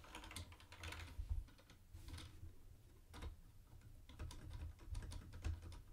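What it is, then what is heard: Plastic keyboard typing. A mint-green plastic retro keyboard with round white plastic keycaps is tapped by fingertips on the keys and the space bar. Quick, short, clicky keystrokes come in bursts with brief pauses, over a steady low hum.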